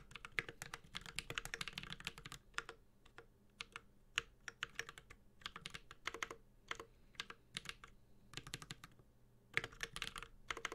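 A Space65 Cybervoyager 65% mechanical keyboard, with a metal case, carbon fiber plate, GMK ABS plastic keycaps and tactile Holy Panda switches, is typed on continuously with the fingertips of both hands. Bright, crisp clacks come in quick bursts with short pauses between them. Each keystroke dies away almost instantly over a faint low hum.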